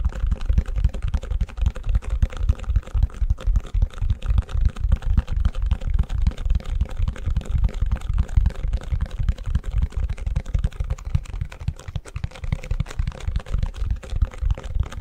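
Fingertips and nails tap and scratch the back of a long, empty white plastic ice cube tray held upside down. They make a fast, continuous stream of short, dry, hollow taps with soft scratching over 15 seconds. The taps are mostly low and thumpy, with almost no ring after each one.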